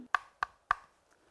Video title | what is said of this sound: #질문맛집 _시즌2 👍저녁 사과는 독!? 사과에 대한 궁금증, 맛있게 풀어드립니다 | 사과를 손톱으로 두드려 보았을 때 통통통 소리가 나고, 표면을 눌러 보았을 때 단단하면 아삭한 사과